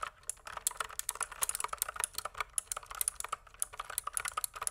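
Fingertips type steadily on a pink plastic mechanical keyboard tilted at an angle, producing a quick run of about two dozen keystrokes. Each press is a short, dry clack with a bright, crisp top and almost no low end, dying away instantly between strokes.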